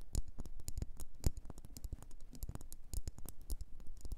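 Long nails tap and scratch quickly on a solid red faceted wax pillar candle. The result is a dense, uneven patter of short, dry clicks, each with a dull low thump and a bright ticking edge that dies away almost instantly.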